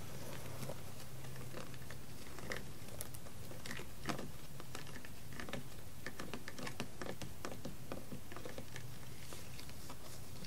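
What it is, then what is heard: Plastic water bottle, empty. Fingertips and long red nails tap and scratch along the curved side of a hollow, largely empty blue PET plastic water bottle lying on a carpet. Quiet, irregular crisp clicks and scratchy patter sit over a steady low hum.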